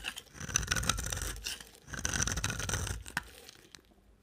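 A box cutter blade scrapes and carves flakes off the end of a dry, solid pink, palm-sized rectangular soap bar held in the hand. Two long gritty scraping strokes carry a bright, crackly texture over a low rumble, followed by a sharp tick and a few fading crumbly crackles.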